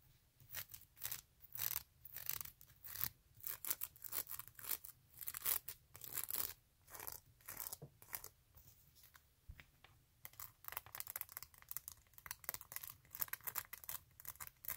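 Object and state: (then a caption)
Faux-leather strappy sandal. Long glittery acrylic nails rapidly scratch and tap along the woven faux-leather straps of a flat tan sandal with a synthetic sole, held in hand. The sound is a quiet, fast run of bright, crisp scratchy bursts and short dry taps with almost no low end, easing briefly around nine to ten seconds before picking up again.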